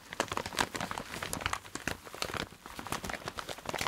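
A clear plastic zip-lock bag holding a patterned dark red fabric item is crinkled and scratched with fingertips and nails. Dense, bright crackling and rustling comes in many quick, short taps and scrapes with little low end and almost no ring. The sound stays fairly quiet and irregular throughout, dipping briefly midway before picking up again.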